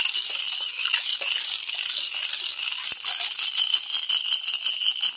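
A clear glass bottle with a gold cap, partly filled with colorful glass marbles and water, is held in one bare hand and shaken or tilted so the marbles knock against the glass walls. The result is a steady, bright rattle of rapid, short glassy clicks with no low end.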